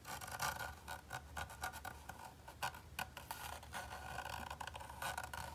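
A fingertip and fingernail scratch and rub along a seam on the dark grey, dotted-texture plastic grip of a hollow Xbox Series X controller. A quick series of dry, raspy scraping strokes sounds bright and crackly, with a faint low rumble underneath. Each stroke stops almost at once, with no ring.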